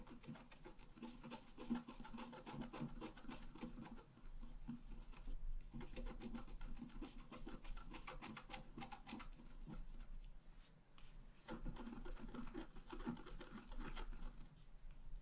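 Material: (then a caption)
Coated paper. A wooden stylus scratches the top of a tree into a flat black-coated scratch-art paper card, making a dry, rapid rasping and rubbing sound. The scratching comes in three long stretches separated by brief pauses, each a dense run of short strokes with a bright, papery hiss.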